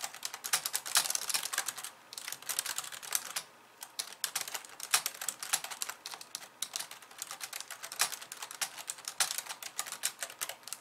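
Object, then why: Plastic computer keyboard. Long polished nails type rapidly with both hands on a compact pink and white plastic computer keyboard. The result is a dense stream of bright, sharp clicks with no low end, pausing briefly around 3 to 4 seconds before continuing.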